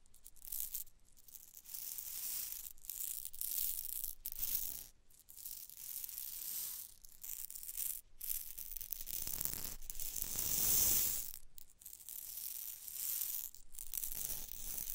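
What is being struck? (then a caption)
Glass test tube with small beads. A narrow clear glass test tube with a cork stopper, partly filled with small pink rhinestone beads, is held in fingers with long dark nails and tilted and gently shaken. The beads slide and rattle against the glass in bright, hissy bursts separated by short pauses. The loudest, fullest swell of rattling comes near the end.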